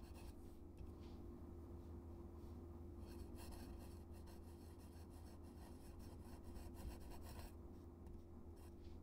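A metal-nib dip pen held in the fingers scratches across a flat white paper card taped to a dark surface, writing cursive text. A steady, quiet, raspy scratching runs throughout, with bright bursts of friction over a low hum.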